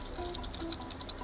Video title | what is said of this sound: Italian Grill Disaster - MasterChef UK Celebrity - S10 EP03 | If you hear a hollow sound, that means one of them is full of sand or empty